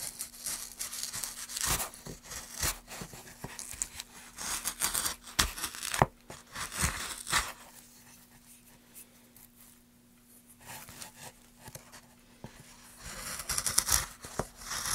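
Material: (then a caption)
Pine wood. A gouge with a wooden handle, held in gloved hands, carves grooves into a solid pine plank lying on a dark surface. It produces bright, dry scraping and tearing strokes over a faint steady low hum. The strokes quiet down in the middle of the clip and then grow louder again toward the end.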